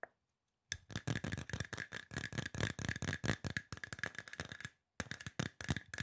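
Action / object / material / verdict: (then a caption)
tap / aluminum spray bottle / aluminum / none. Fingertips tap quickly on a hollow silver aluminum spray bottle in fast, uneven bursts, with brief pauses near the start and near the end. Each tap is a short, dry thump with a low body and a bright metallic edge, and a faint steady ring carries through the run of taps.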